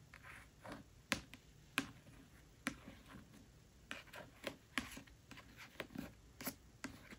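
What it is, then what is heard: Paperback book. Long nails tap the glossy card cover of a thick *A Court of Thorns and Roses* paperback lying flat. About 13 quiet, dry, bright clicks come in an uneven rhythm, each dying away almost at once, with soft scratchy brushing between them.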